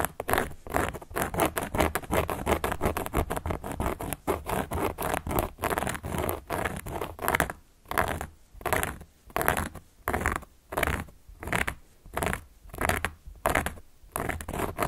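A carving tool held upright by long nails traces and scratches across the surface of a large, round, solid cork board. For the first half the strokes are quick, dense and crackly. After that they slow into separate, steady swishes with brief pauses between them.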